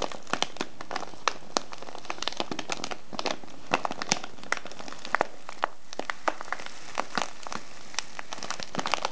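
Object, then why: Kraft paper tea bag with plastic window and loose tea. A small brown kraft paper tea bag with a clear plastic window, filled with loose tea, is squeezed and crinkled with the fingertips. A steady, dense rustle of crinkling and crackling carries on throughout, with frequent sharp, bright snaps popping out above it.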